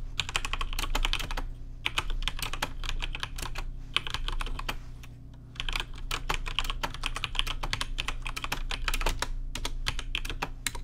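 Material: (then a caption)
Plastic. Fingertips type on a rainbow-lit plastic RGB mechanical keyboard with plastic keycaps, giving rapid, sharp, bright key clacks in bursts with short pauses between them. A steady low hum sits underneath throughout.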